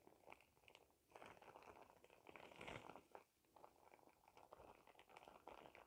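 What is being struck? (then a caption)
Thin plastic shower cap. A clear, thin plastic shower cap with a cartoon print and glitter is held up close and crumpled with fingertips that have dark-painted nails. Soft, steady crinkling and crackling rustles come in uneven bursts, swelling briefly louder and brighter near the middle before settling back into quiet, continuous crinkles.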